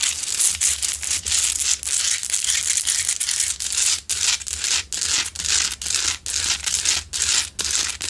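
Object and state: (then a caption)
Salt rock lamp scratched with nails. Long nails scratch the sides of a large, solid, rough pink Himalayan salt rock lamp that is lit. The scratching comes as fast, bright, gritty rasping strokes in a loose repeating rhythm, separated by short gaps, over a faint low hum.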